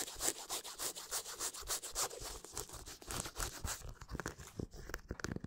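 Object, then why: Leather sneaker. Fingernails scratch an empty black leather high-top sneaker with a white rubber sole, close to the microphone. Quick, uneven strokes make dry, bright rasping scratches at a steady quiet level. In the last second and a half they thin into sparser, sharper scrapes.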